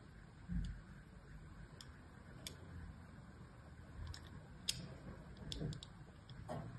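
A thin metal blade carves and scratches grooves into a solid, cream-colored rectangular bar of soap held in one hand. Faint, crisp high ticks and scrapes sound over soft, low muffled thumps, each one dying away almost at once. The whole clip stays quiet and close.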